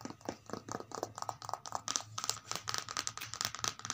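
Long multicolored acrylic nails rapidly tap and scratch the paper pages of an open, thin children's paperback lying flat on carpet. The result is a quick, quiet stream of sharp, bright clicks with a dry papery scratch between them, and each tap dies away almost at once.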